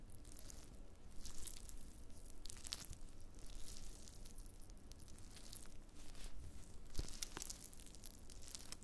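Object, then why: Dried wood ear fungus pieces. Black-gloved fingertips press and scratch a small pile of thin, brittle, translucent brown dried black fungus (wood ear mushroom) pieces on a white cutting board. The result is a steady stream of crackly, tearing crinkles with bright snapping bursts over a soft low rumble, at a quiet, close level throughout.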